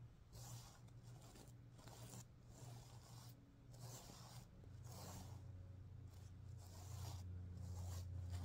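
Fingernails scratch and fingers rub across the plastic sequins on the green side of a stuffed sequin pillow. The result is a quiet, rapid run of bright, rasping scrapes and rustles, roughly three to four strokes per second, over a steady low hum that grows slightly louder toward the end.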